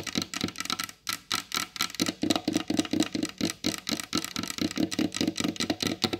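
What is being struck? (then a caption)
Varnished wooden tabletop tapped with fingernails. Long blue acrylic nails on both hands tap quickly across the glossy varnished top of a large solid wooden table. About 25 short, dry taps come in an uneven, rapid rhythm, each a hollow knock with a bright clicky edge that dies away almost instantly.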